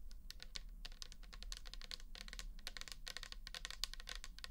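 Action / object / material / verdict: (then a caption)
tap / plastic toner bottle with liquid / plastic / none. Long nails tap fast around the shoulder and label of a pink plastic toner bottle holding liquid. The result is a dense run of short, bright clicks that die away almost instantly, over a steady low hum.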